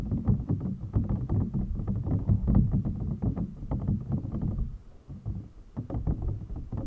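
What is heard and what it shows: Fingernails and fingertips tap and rub the top of an empty, clear, hollow PVC toy packaging box. The result is a dense run of quick, dull, hollow taps with a heavy low thump and little brightness. They ease off briefly near the five-second mark before picking up again.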